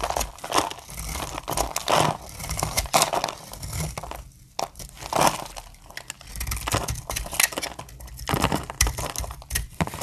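A solid, translucent brown glycerin soap bar with embossed lettering is held in hand and shaved with the metal blade of a utility knife, its flakes falling onto a table. Dense, crisp scraping and crunching strokes follow one another throughout, with bright, crackly texture over a soft low rumble and brief pauses between passes.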